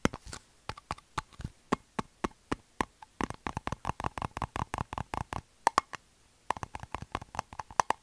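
A hand-sized plastic Xylitol gum bottle, which appears to contain gum, is held in the hands, tapped with fingertips and shaken. It makes a quick run of short, dry, hollow taps with a tone around 1 kHz and almost no ring, pausing briefly near the six-second mark before the tapping resumes.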